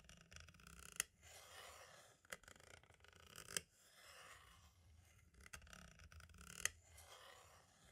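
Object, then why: Plastic audio cassette shell. A green-and-black striped tool tip traces, scratches and taps around the hub holes and window of a hollow plastic compact cassette shell. Soft, bright scratching sweeps back and forth, broken by a few sharp, dry clicks that stop instantly with no ring. The whole clip is quiet and close.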